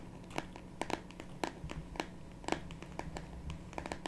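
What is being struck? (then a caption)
Printed cardboard box holding a card deck. A small rectangular printed cardboard box of "Earth Magic" oracle cards, holding a card deck, is held in both hands and then laid flat on a wooden table while long pink natural nails tap and scratch it. Quick, dry clicking taps come irregularly over soft, crinkly scratching, with a faint steady low hum underneath.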